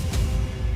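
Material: Nothing is struck.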